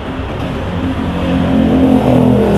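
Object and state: Nothing is struck.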